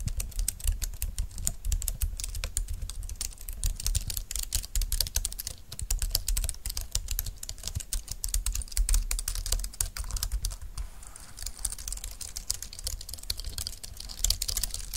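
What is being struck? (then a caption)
Plastic low-profile computer keyboard. Fingertips and long nails type on a compact dark green plastic low-profile keyboard with flat keys and a hollow plastic body. A steady stream of rapid, bright clicking taps is heard, each with a short dry snap over a low hollow thud.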